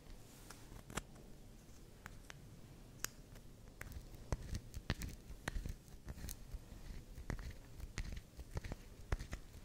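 Long acrylic nails scratch and scrape the edge of a small, solid, round pink swirl bar soap held in the hands, and small soap shavings fall onto the table. It is quiet, dry, irregular scraping with sharp clicking ticks over a soft low rumble.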